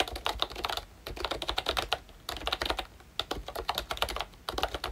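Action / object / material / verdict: tap / plastic membrane keyboard / plastic / none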